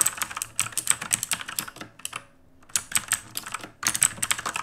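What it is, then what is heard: Plastic mechanical keyboard. Fast two-handed fingertip typing on an RGB-lit black mechanical keyboard with plastic keycaps produces a rapid stream of bright, crisp clicks and clacks with almost no low end. The typing breaks off into a brief near-silent pause about halfway through, then resumes at the same quick pace, with a short dip before a final dense burst of keystrokes.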